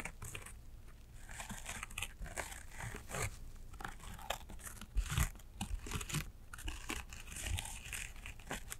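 Long acrylic nails scratch across a small embroidered fabric shoulder bag with thick thread embroidery. The result is a dense run of dry, crinkly scratches with bright hiss and occasional soft low thumps. The busiest, loudest stretch comes around the middle of the clip.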